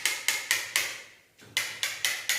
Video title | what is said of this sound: Cara pasang granit 60 x120 dinding kamar mandi supaya rapi, rata, level | kalau bunyinya seperti ini ini berarti pasangannya penuh tidak kopong kalau kopong biasanya bunyinya nyaring